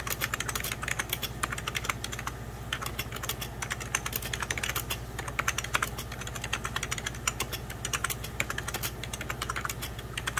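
A beige 1990s Packard Bell plastic computer keyboard, hollow-bodied, is typed on with the fingertips of both hands. Rapid, bright, clicky key taps run steadily throughout, each short and sharp over a low, constant hum.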